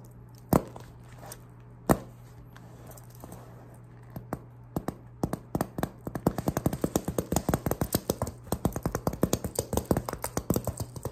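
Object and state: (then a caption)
Metal knife tapped. A person in a Ghostface costume taps and scratches a metal prop of Pyramid Head's knife. Two sharp, isolated taps ring out first, then short, dry metallic taps come faster and denser over a steady low hum.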